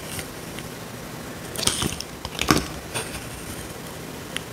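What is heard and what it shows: A small metal blade scrapes a dry, solid rectangular tan soap bar held in the hand, shaving it into curls. Short, dry, scratchy scrapes with crisp bright edges rise over a quiet background hiss, with the strongest scrape near the middle and a faint final tick at the end.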